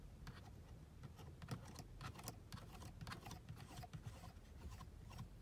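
Long blue nails tap and scratch across a black grained plastic car dashboard panel and its air vent louvers. Quiet, short, bright clicks and scratchy ticks come in irregular bursts over a steady low rumble.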